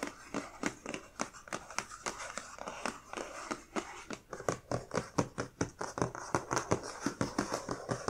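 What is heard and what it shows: Long dark-painted nails tap and scratch the lid of a closed, medium black printed cardboard Witch Casket subscription box (August 2020, "Courage") with a keyhole emblem, while hands grip its sides. About 34 short, dry taps ring out in a quick, uneven rhythm, each fading almost at once, over a soft scratching rustle.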